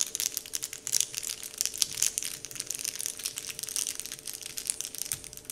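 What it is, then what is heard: Crinkly plastic wrapper sheet. Fingertips of both hands press, crumple and scratch the surface of a large, flat, heart-shaped printed "Dove" wrapper sheet lying on a table. The result is a steady stream of bright, crisp crinkling and crackling made of many quick, sharp ticks, with almost no low end.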